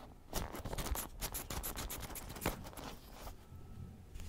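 Long nails scratch and pluck the wooden pin bristles of a wooden paddle hairbrush. It makes a rapid series of dry, crackly clicks and scrapes with bright edges over a low, rough rumble.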